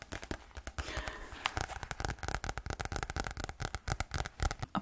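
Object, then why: Spiral-bound notebook with card cover and paper pages. Fingernails tap quickly on the card cover of a medium green spiral-bound notebook with paper pages, held up close to a microphone. The result is a rapid run of dry, crisp clicks with a soft low thump under each tap, stopping almost instantly, plus a brief papery rustle near the start.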